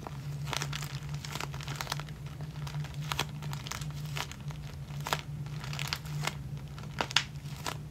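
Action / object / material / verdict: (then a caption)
scrape / plastic zip-lock bag of elastic hair ties / plastic / none. Fingertips press and rub across a flat, clear plastic zip-lock bag full of clear elastic hair bands held up in the air. Soft, bright crinkles and short crackling bursts come and go over a steady low hum throughout.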